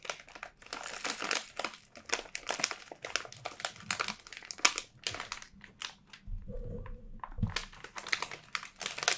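A small Schär Salinis gluten-free pretzel bag of thin crinkly plastic foil, apparently full of pretzels, is held in both hands, squeezed with fingertips and thumbs and turned from back to front. Dense, bright crinkling comes in rapid bursts, with a brief low rumble and a soft tonal hum near the end.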